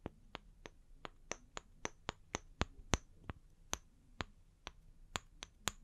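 Long fingernails tap about seventeen times on two small, solid round wooden log slices, first held upright and then tilted, striking both the flat faces and the bark edges. Each tap is a short, dry, bright click that dies away at once, in a steady, quiet rhythm over faint background hiss.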